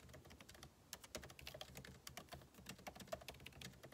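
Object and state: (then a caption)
Laptop keyboard being typed on. Two hands type continuously with their fingertips on the backlit keyboard of a MacBook Pro laptop, whose plastic keycaps sit in a hollow aluminum case. The result is a quiet, steady stream of short, crisp key taps with bright clicky tops and a faint low thump, each dying away almost instantly.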